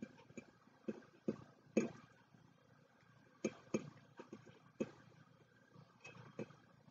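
Fingertips and short nails tap and scratch the outer wall of a hollow, medium white ceramic mug resting on a wooden table while both hands hold it. About twelve short, dry taps come in irregular clusters, each with a hollow mid-low ring around 230 Hz that dies away almost at once. Faint scratching fills the quiet gaps between them.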